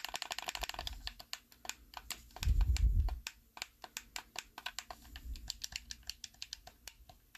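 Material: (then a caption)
Plastic. Thumbs press and click the buttons and thumbsticks of a hollow, black plastic Xbox 360 style handheld controller held in both hands. About forty rapid, uneven, clicky taps ring out sharp and short over a low rumble. A louder, deeper thumping swell rises around the middle.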